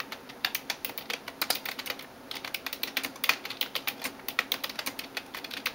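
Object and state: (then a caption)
Plastic computer keyboard. A hand types rapidly on a backlit plastic computer keyboard, tapping the keys with fingertips and nails. Dozens of quick, crisp clicks with almost no ring follow one another in a steady stream, with a brief lull near the middle. The sound is bright and clicky, with no low-end weight.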